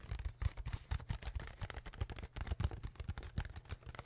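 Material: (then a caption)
Plastic. Long fingernails tap and scratch the ridged sides of an empty, hollow, clear plastic water bottle with its cap on, held close in front of a microphone. A rapid, uneven run of soft, dull thumps sits mostly in the low end around 74 Hz, with faint crackly scratching above. Each tap dies away almost instantly.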